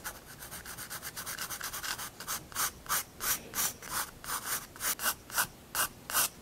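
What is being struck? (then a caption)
Graphite pencil on paper sketchbook page. A graphite pencil drags across a paper sketchbook page, drawing lines and figures in a series of about 23 dry, bright scratching rubs. The strokes start quick and soft, then grow longer and louder, with short pauses between them.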